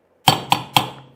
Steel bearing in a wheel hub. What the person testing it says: it's solid so that's all the way down